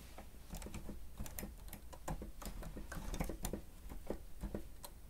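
Rapid two-handed fingertip presses on the keys of a grey plastic stenotype machine, with paper lying idle nearby. A steady stream of quick, dry clicks and taps overlaps with a low thud around 200 Hz and faint bright ticks on top. Each press dies away almost instantly.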